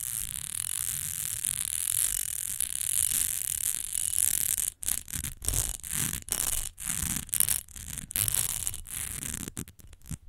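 Long nails tap and scratch the smooth sides of an upright rectangular glass perfume bottle, partly filled with amber liquid. A steady, bright, hissy scratching runs for the first few seconds, then breaks into quick choppy strokes separated by brief silences.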